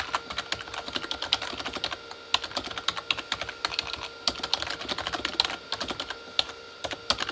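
Both hands type with their fingertips on the plastic keycaps of a full-size, hollow Corsair K35 backlit mechanical keyboard with a plastic body. The result is a steady stream of quick, bright clicking taps with almost no low end, and each tap dies away almost instantly. A faint, constant hum runs underneath.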